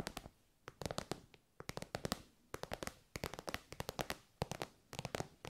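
Long white nails tap and scratch an elongated, shiny pink metallic faux-leather pouch made of soft, hollow synthetic material. Quick bursts of sharp, dry clicking taps stop almost instantly, with bright crackly scratching between them. The bursts come in clusters separated by short quiet pauses.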